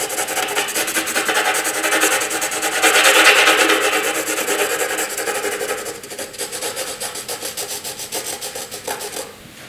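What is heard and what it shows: A graphite pencil scratches across a flat sheet of white drawing paper in long, sweeping shading strokes, producing a dry, bright, raspy hiss with a steady rhythmic back-and-forth texture and no low end. The scratching swells louder around the third second, then grows softer and more distinctly pulsed in the latter half before fading quietly at the end.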